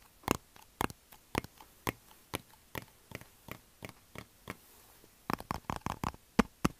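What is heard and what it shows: A hand-sized plastic Xylitol gum bottle that appears to contain gum is held in the hands, tapped with the fingertips and shaken. About 20 short, dry plastic taps ring around the midrange with almost no decay, coming at a steady pace for about four and a half seconds. After a brief pause, a quicker, louder cluster of taps follows.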